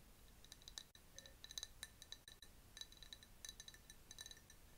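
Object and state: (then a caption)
Glass jar. A hand-held clear glass jar with a paper label, partly filled with a yellowish liquid and holding a bamboo straw, is tapped with long nails. Quick, irregular bursts of light, bright clinks ring briefly around 3.9 kHz and die away almost at once. A soft, steady hiss sits underneath.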